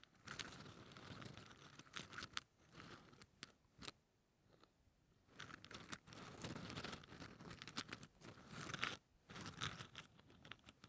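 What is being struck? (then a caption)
Wooden toothpicks packed in a plastic holder. A fingertip brushes and scratches across the tips of wooden toothpicks packed tightly into a small yellow plastic cylindrical holder, held close in one hand. The result is a dry, bright, crackly scratching that comes in bursts, with brief quiet pauses between strokes.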